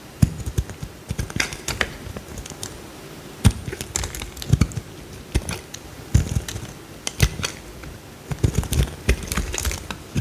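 A metal utility knife blade cuts and scrapes a small, solid, cream-colored bar of soap, with chunks breaking off. The sound is a dense, irregular run of crisp clicks and snaps, each a dull low thump with a bright crackling edge that dies away almost at once. Quieter scraping fills the gaps between bursts.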